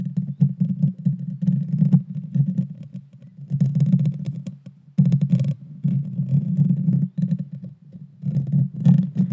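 Long dark fingernails scratch the small, hollow, round metal mesh grille of a Blue Yeti Nano microphone. The result is a dense, boomy rumble of scraping centred low around 140 Hz, with fast crackly ticks flecking into the highs. It comes in uneven bursts separated by brief near-silent pauses.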